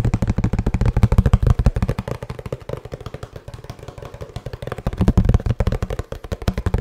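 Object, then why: Cardboard box. Fingertips tap rapidly on the face of a hollow kraft cardboard box held upright, making quick, dull, low thumps with almost no ring. The tapping is loud at first, softens in the middle, and grows louder again toward the end.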